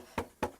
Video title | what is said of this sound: Entoilage Oracover – Les Tutos d’Alain – Épisode 1 | la partie qui n'est pas tendue, on a un bruit plus rauque